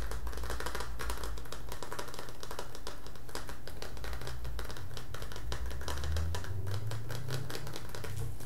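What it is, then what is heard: Metal tin can tapped with fingertips. A hand-sized, hollow green printed metal Milo tin is held in both hands and tapped with the fingertips around its body and lid. The result is a rapid, continuous stream of light, clicky taps over a steady low, hollow resonance.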